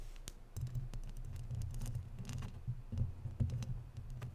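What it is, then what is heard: Metal mesh microphone grille. Long natural nails tap and scratch the sides of a hollow, round woven metal mesh microphone grille. The sound is a quick run of sharp, bright clicks and scratches over a constant low, boomy rumble.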